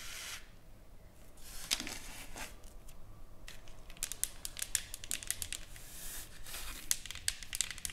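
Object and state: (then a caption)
Engraved wooden plaque. Long nails scratch and tap across a solid, flat wooden plaque with engraved lettering and painted flowers, lying on a table. Bright, dry scratching rasps alternate with quick, crisp taps that die away instantly, over a soft low background hiss.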